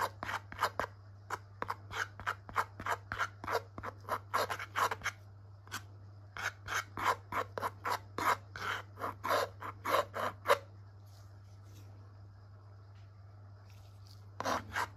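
A metal palette knife spreads and scrapes thick purple-blue wet acrylic paint across a small flat white canvas panel dotted with paint dabs. A rapid, uneven run of short, bright scraping and rubbing strokes plays over a steady low hum, stops for about four seconds, then resumes briefly at the end.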